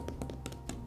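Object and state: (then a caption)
Glue-stiffened rope bowl, mostly hardened. A second rope bowl stiffened with Mod Podge glue is tapped, giving a rapid run of about six short, dry knocks with almost no ring. It is mostly rock hard, except for the center, where too much glue was dumped and it stayed a slightly different color and mushy.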